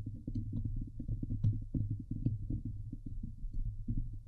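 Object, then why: Woven metal mesh microphone grille. Long nails of both hands scratch fast across the hollow woven metal mesh grille of a Blue Yeti microphone. The result is a dense, boomy rumble of rapid low thumps centered around 105 Hz, with brief bright clicks poking through now and then.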